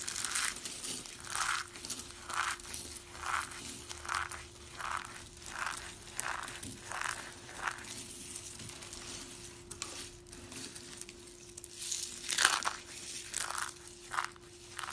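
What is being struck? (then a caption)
Soap shavings. A hand squeezes and crushes a fistful of brittle, solid mint-green and white dry soap shavings with its fingers, producing repeated bright, dry crunching and crinkling bursts with short pauses between squeezes. A faint steady tone runs underneath throughout.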